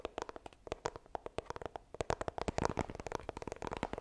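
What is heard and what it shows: Long nails tap and scratch the surface of a small, hollow white iPhone retail box made of coated cardboard as it is turned from upright to horizontal. The result is a rapid run of short, dry, hollow clicks with a papery, mid-pitched knock around 950 Hz. The tapping grows denser and louder in the second half.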